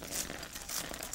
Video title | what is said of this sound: Breaking Flowers with Liquid Nitrogen | breaks almost like it's glass. It sounds like glass breaking. And all it is the water inside there has quickly frozen into ice.